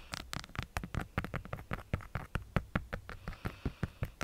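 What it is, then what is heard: Hollow plastic skull tapped with nails. A pink, hand-sized hollow hard-plastic light-up skull decoration is tapped on its top with long nail tips, about two dozen times in quick, uneven succession. Each tap is a short, dry, hollow knock with a low body and a crisp clicky edge that dies away at once.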